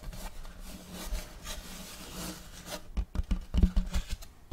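Fingers of both hands scratch and rub the surface of a large, solid, round checkered wooden serving board held close to the microphone. A soft, steady, papery rubbing and scratching fills the first three seconds, then gives way to louder, irregular low thumps and scrapes with bright scratchy edges.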